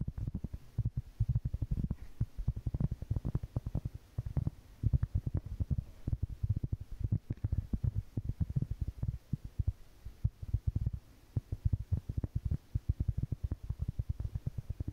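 Long painted fingernails tap and scratch across a large, round, flat, solid cork board held in both hands. The result is a rapid, continuous stream of soft, muffled, low thuds that die away almost instantly, with a faint scratchy texture between the taps.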